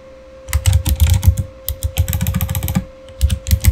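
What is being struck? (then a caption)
Plastic mechanical keyboard. Both hands type with their fingertips on a backlit Razer Fire mechanical keyboard with plastic keycaps, giving quick bursts of deep, thocky key clatter with light bright clicks on top. After a quiet start, the typing runs in rapid runs, pauses briefly, then resumes, while a faint steady tone hums underneath throughout.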